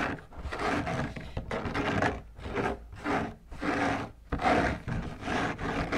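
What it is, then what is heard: Fabric lampshade being scratched. Fingertips and long nails scratch the white textured fabric outside of a large, hollow, drum-shaped lampshade held upright on a table. A series of dry, raspy scratching strokes rise and fall in loudness, with a hollow mid-range body and a bright, grainy hiss.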